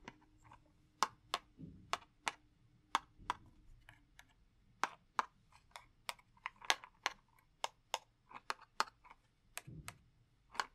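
A small, hollow purple cardboard matchbox held in one hand is tapped with fingers and a long wooden match, giving about 20 sharp, dry clicks and taps that die away almost instantly. The taps have a bright, papery snap and come in an uneven rhythm, with a couple of brief low rustles from handling in between.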